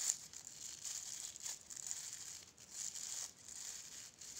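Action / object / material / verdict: scrape / plastic bristle brush / plastic / none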